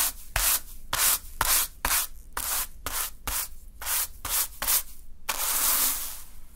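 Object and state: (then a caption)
Sand swept with a small broom. A small natural-fiber hand broom sweeps a small heap of fine green sand across a dark surface. Eleven quick, uneven strokes each give a bright, hissing rub of bristles through the grains. The last stroke is longer and drawn out.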